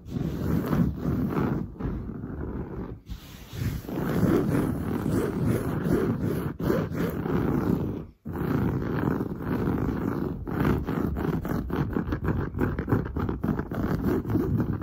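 Long blue nails scratch fast and hard across padded, grey-brown textured woven sofa fabric. The result is a dense, rough, low-heavy rasping with brief pauses near 3 and 8 seconds.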